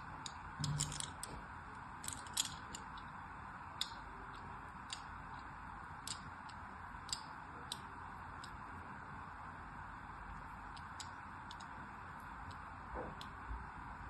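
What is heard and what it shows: A craft knife blade scores crosshatch grooves into a solid green bar of soap as it is rotated in the hand. Short, bright, crisp scratching and cutting ticks sound at irregular intervals over a steady low hiss. The clip is quiet overall.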